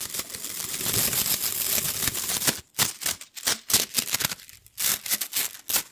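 A hollow rainbow plastic coil spring toy is stretched and dropped between hands so its coils slap together. The first half is a dense, continuous bright rattle of clattering plastic. It then breaks into a quick series of separate sharp, high slaps with brief gaps between them.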